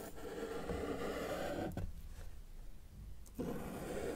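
A felt-tip marker held in the fingers is dragged across a flat white paper sheet lying on a solid table surface to draw lines. A steady, soft scratching stroke runs for almost two seconds, pauses in near quiet, then a second stroke starts abruptly and continues. The marker-on-paper scratch sits mostly in the low and middle range with little bright content.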